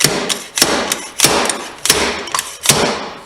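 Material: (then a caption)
Metal. A fork seal driver repeatedly strikes a fork seal being driven into a fork tube of a 2011 RMZ 450 motorcycle, making a series of sharp, bright metallic thuds with short ringing tails. The strikes shift from hollow-sounding to a solid sound, showing the seal and bushings are fully seated.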